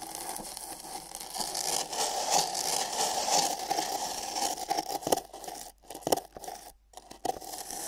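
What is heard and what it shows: Fingernails scratch inside the rim of an empty printed paper cup held sideways over the microphone. The sound is a bright, dry scraping with crunchy, crackling texture and a hollow resonance in the mids from the cup. It continues steadily, then breaks into irregular strokes with brief silent gaps near the end.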